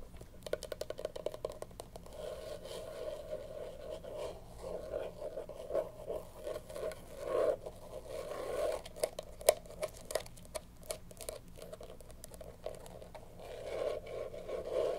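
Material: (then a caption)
Faux leather. A small, hollow, closed black hard-shell glasses case with a faux leather cover is tapped and scratched with long pink nails. Quick, dry taps with a hollow mid-range tone mix with soft, continuous scratching. The taps come in fast bursts and slower stretches, with very little ring after each one.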